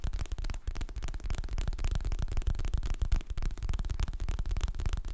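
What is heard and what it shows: Fingertips and nails tap and scratch the glossy printed cover of a solid, medium hardcover paper book held in both hands. The sound is a quick, irregular run of dull, low, dry taps mixed with soft scratching, each tap dying away almost instantly.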